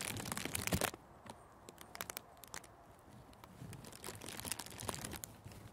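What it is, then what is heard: Cellophane wrap crinkled. A thin sheet of clear plastic cellophane gift wrap is lifted and crinkled by the fingers in front of and over a furry microphone windscreen. A dense, bright burst of crinkling fills the first second, thins to quiet, scattered crackles and snaps, then builds again into steady rustling crinkles toward the end.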